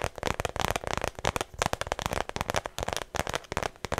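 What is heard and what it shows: Long nails rapidly tap and scratch the flat face of a small, hollow, cream-colored shoulder bag with a thin strap that looks like smooth faux leather, close to a microphone. The result is a dense, dry, crackling patter of quick clicks and scrapes with almost no ring after each one.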